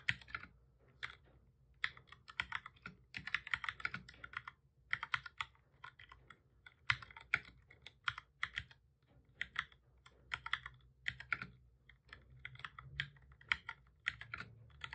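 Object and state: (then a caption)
Plastic computer keyboard being typed on. Both hands type steadily with their fingertips on a full-size black plastic keyboard with a hollow body, resting on a desk. Quick bursts of short, bright, clicky key taps come in uneven runs separated by brief pauses. Each tap dies away almost instantly over a faint low background hum.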